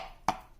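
A fingernail taps once on the metal lid of a properly sealed glass canning jar of canned beef. It makes a short, dull tick centered around 750 Hz that dies away almost instantly, the sound of a good seal.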